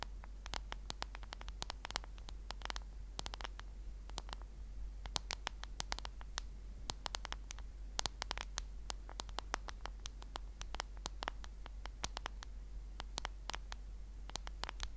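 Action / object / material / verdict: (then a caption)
tap / smartphone in a plastic case / plastic / none. Long nails tap rapidly on a smartphone in a black case held horizontally, giving a steady stream of many quiet, sharp, dry clicks with bright edges and no ring. A constant low hum sits beneath the irregular patter of taps for the whole clip.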